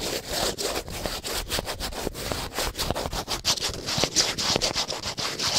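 A small printed cardboard soap box is scratched and tapped with long painted nails. The sound is a quick, continuous run of dry, bright scratches broken by sharp little taps on the paper surface.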